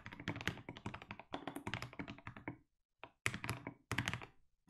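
A compact mechanical keyboard with SA plastic keycaps is typed on with steady fingertips. It gives rapid, deep, clacky keystrokes that are short and dry with a low thunk and bright clicky tops. Typing runs in bursts broken by a brief pause.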